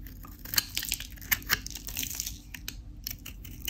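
A craft knife scrapes and cuts along the face of a solid, dry white Dalan soap bar with a pink painted rind, held in the hand, shaving off crunchy flakes. Bright, crisp crackles and sharp snaps come at an irregular pace over a faint low rumble, each cut ending almost instantly.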